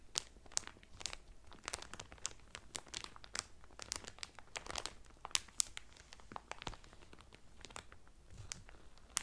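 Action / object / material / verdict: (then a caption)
scrape / towel wrapped in thin cellophane / cellophane / none. Fingertips and medium painted nails press and crinkle the loose, thin clear cellophane sealing a folded blue terry Carnival towel lying flat on a table. The result is a steady stream of quiet, sharp, bright crackles and snaps with almost no low end, each dying away instantly, with occasional louder pops standing out.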